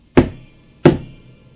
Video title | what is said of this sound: How to Install amplifier tubes | it sounds just like a spring that's cuz that's exactly what it is in there